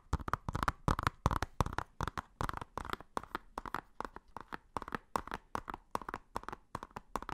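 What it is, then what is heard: Plastic Blu-ray case. Fingertips and nails tap and scratch a hollow blue plastic Blu-ray case of Inception with a printed cover. A quick, irregular run of short, dry plastic clicks carries a hollow midrange body and a faint low thump. Each tap dies away almost instantly.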